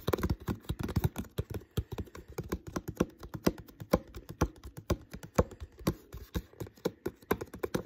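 Fingertips tap rapidly on the thin plastic near the uncapped neck and shoulder of an empty, hollow, clear plastic water bottle. The quick, irregular taps sound dry and hollow, with a low, thumpy body and almost no ring after each hit.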